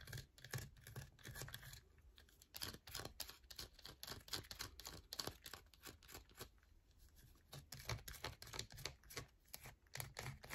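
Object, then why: Bar of soap. Long nails scratch across a solid yellow soap bar, which sits partly out of frame at first, producing rapid, crisp scratching strokes with bright, dry clicks. The strokes come in quick bursts with brief quieter gaps, and each one stops almost instantly with no ring.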